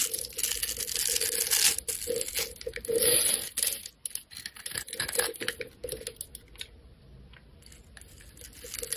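A metal blade scrapes cubes off a solid rectangular neon green soap bar pre-scored into a grid. Dense, bright scraping and crumbly crunching come in irregular bursts, loudest in the first four seconds. The sound then thins to softer scratches and fades out near the end.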